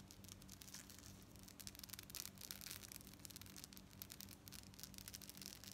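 Long nails rapidly scratch and tap the gold-tone metal beads of a long lariat necklace worn on a dark cord with fringe at the bottom. The result is a dense, quiet stream of bright, crisp clicks and rasping scrapes, with a faint steady low hum underneath.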